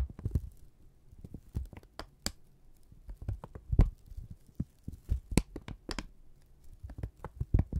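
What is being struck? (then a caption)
Strip of kraft paper. A thin, flat strip of brown kraft paper is held taut in both hands and crinkled, stretched and rubbed with fingertips. The result is a quiet, irregular run of soft crackles and dull low thumps, with brief bright rustling snaps scattered throughout.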